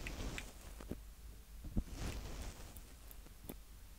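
Fingertips of both hands tap and rub the two mic heads on top of a small black Tascam DR-05X plastic handheld audio recorder. Close, quiet, low-heavy thumps and muffled rumbling come through, with soft scratchy rubbing in between and a few sharper taps that stop almost at once.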